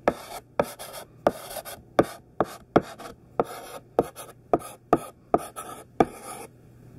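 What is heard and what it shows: Thick, chunky pink sidewalk chalk is held in the hand and written across a black chalkboard, forming words. Each stroke begins with a sharp tap and trails into a dry, bright, gritty scrape, with brief pauses between strokes and a faint low hum underneath.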